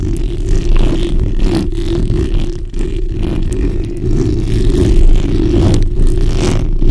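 The backs of long nails scratch continuously across a black, hollow steel mesh microphone grille. The result is a dense, rumbling, low scraping texture that stays steady throughout, with brief dips and a few sharper bright flecks.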